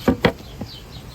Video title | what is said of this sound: JOSHUA VIDES x BAPE ROAD STA UNBOXING | actual wood y'all y'all hear that knock on wood